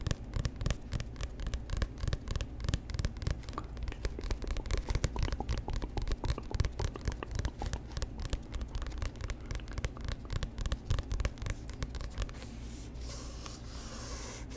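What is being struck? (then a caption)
Glossy paperback book cover. Fingernails scratch and tap rapidly on the cover of a solid, glossy paperback book held close to the microphone, making a dense stream of dry, crisp clicks and scrapes with a heavy low thump. In the last couple of seconds the tapping gives way to a softer, brighter, steady scratching hiss.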